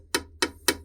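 A bronze-looking antique is struck three times, each hit giving a short, bright, cowbell-like ring with a low fundamental and bright overtones that fade quickly, over a steady low hum. The sound shows it is not solid bronze, since solid bronze would not sound like this.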